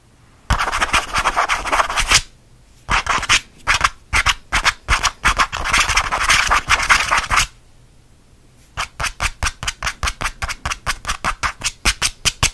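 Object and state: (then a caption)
Faux leather change purse scratched. Fingernails scratch fast across the smooth surface of a small purple faux leather (vinyl) change purse with a stitched seam, held in one hand. A dense, bright, raspy scratching burst is followed by a longer stretch of choppy, rapid strokes. After a short pause comes a steady run of quick, separate scratches.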